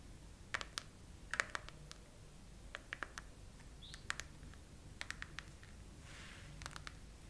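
Long nails, mostly on one hand, slowly tap the raised heart domes of a chrome plastic heart-bubble case on a phone mounted on a tripod. Each tap is a short, sharp plastic click with a bright ringing tone near 1.9 kHz, arriving in loose clusters with brief pauses. A faint, steady low hum sits underneath.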